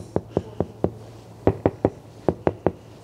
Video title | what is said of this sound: Testing noise in Tesla Model 3 with double glass | front windscreen has a different sound